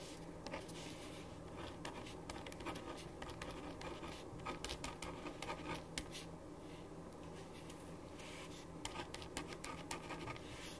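A ballpoint pen writes on a thin printed paper sheet lying flat on a wooden desk, making quiet, continuous scratching strokes with brief brighter scrapes. A faint steady hum runs underneath throughout.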